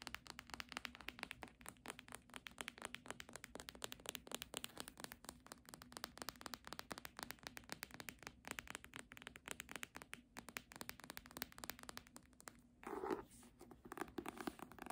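A thick, solid red embossed hardcover copy of "A Little Princess" is tapped with long nails on its cover and spine. The result is a steady run of quick, light, crisp clicks and taps with no talking. Near the thirteen-second mark there is a brief, fuller rustling burst.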